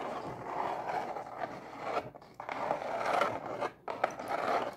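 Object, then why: Cardboard pizza box lid. Long acrylic nails scratch and rub across the printed surface of a closed, hollow brown cardboard pizza box lid. The result is a continuous dry, papery scraping in the midrange, broken by two brief pauses.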